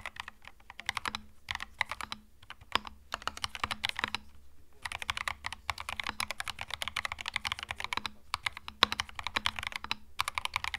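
Both hands rapidly type with their fingertips on a compact white-and-beige Epomaker TH66 mechanical keyboard with plastic Mario retro keycaps, resting on a felt desk mat. The result is a fast, uneven stream of short, bright plastic clicks and clacks with a few brief pauses, over a faint, steady low hum.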